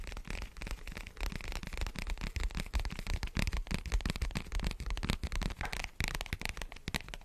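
A large dark foam windscreen covering a microphone is scratched and rubbed with the fingertips of both hands. The result is a dense, continuous run of crackling, rustling bursts with a heavy, boomy low end and fizzy bright edges, swelling and dipping as the fingers move.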